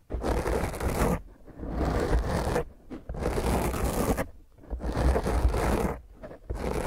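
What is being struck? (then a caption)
Foam microphone windscreen. Long fingernails scratch a small, rounded black foam windscreen on a microphone, first with one hand and then with both hands. The result is several long bursts of rough, dense scratching with a heavy low rumble, separated by brief quieter pauses.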